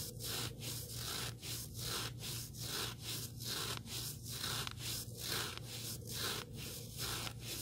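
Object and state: Sanding sponge block.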